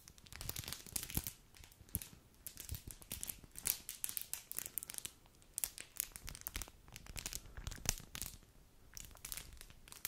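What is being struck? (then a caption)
Foil-plastic snack wrapper. A thin, light, flexible foil-plastic snack wrapper is crinkled and twisted by white-gloved hands close to the microphone. Dense bursts of bright, crackling crinkles come in irregular waves with quick dry snaps, under a soft low rustle. Each crackle stops almost at once, with no ring.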